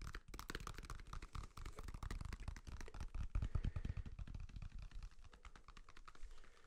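A whole, solid yellow banana with the peel on is held upright and tapped with fingertips and nails. The result is a fast, steady run of soft, dull, low thuds mixed with light clicking ticks, each dying away almost instantly. The taps grow slightly fainter toward the end.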